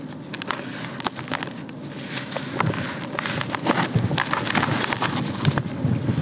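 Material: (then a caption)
Soil. Bare, dirt-covered hands squeeze and crush large dry red soil clumps heaped in a grey plastic bucket, letting loose crumbs and fine soil fall between the fingers. The result is an irregular stream of dry, crunchy crackles and crumbling over a soft low rumble, growing a little busier and louder toward the end.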